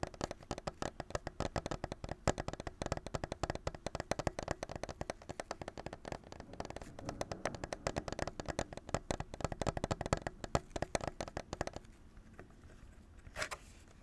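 A plastic clamshell package holding a blue Nintendo Switch controller is held in both hands and tapped rapidly with fingertips and nails on its front and sides, making a dense stream of sharp, dry, hollow clicks. Near the end the tapping stops, leaving quieter soft handling sounds and one brief brighter burst.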